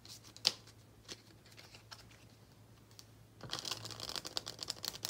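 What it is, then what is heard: Paper playing card deck being riffle-shuffled. A small, solid deck of paper playing cards is held in both hands over a dark cloth, split, and riffle-shuffled with the fingertips. A few soft, scattered ticks and one sharp click are heard over a faint steady low hum. After about three seconds comes a dense, rapid flutter of crisp, bright card snaps that lasts to the end.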